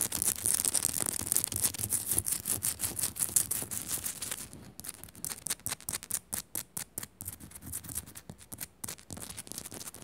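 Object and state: Himalayan salt lamp.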